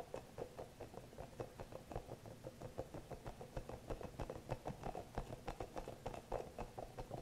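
Fingernails tap and scratch the surface of a small green hollow rubber massage ball with soft spikes. About two dozen quick, soft, dull taps come in a steady rhythm, each dying away almost at once over a low hum. The sound stays muffled and mid-low, with little brightness.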